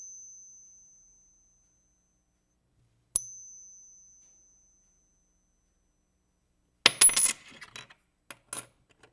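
A 1964 American silver quarter from a lot of ten is pinged in a test, and each gives a high, clear bell-like ring that fades over about a second. After two separate rings, a quick burst of brighter, overlapping metallic clinks and taps follows as the coins are handled. The ring marks them as authentic silver quarters.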